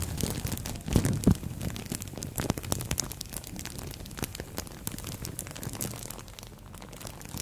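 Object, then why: Thin plastic bag over a microphone. A thin green-and-white printed plastic bag wrapped over a microphone head is rubbed, crinkled and scratched with long nails and fingertips. Dense, irregular crackling and crinkling bursts run throughout over a heavy low rumble, with a few louder crunches near the start and a slightly softer patch toward the end.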